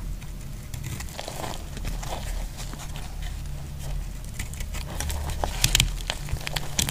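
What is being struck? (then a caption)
Soap bar scraped with a metal blade. The remaining piece of a solid, dry yellow soap bar is shaved with a metal utility blade until only a small piece is left. Dry, crackling scrapes and sharp, bright clicks sound over a steady low rumble, growing a little louder toward the end.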